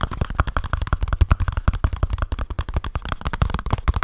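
Fingertips and short nails rapidly tap and scratch a small kraft cardboard product box, giving a dense run of about thirty dull, low thumps with a faint papery scrape between them. Each hit dies away almost instantly, leaving a dry, hollow patter.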